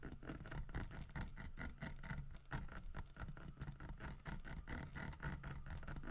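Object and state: Carved wooden bear statue.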